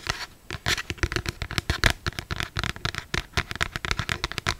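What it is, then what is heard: Paperback book cover tapped and scratched by long nails. Long black stiletto acrylic nails tap and scratch across the glossy paper cover of a closed, solid paperback novel, "Maybe Someday," held upright. The result is a rapid, uneven series of short, dry clicks and papery scrapes with a bright edge and a soft low thump beneath, each dying away almost instantly.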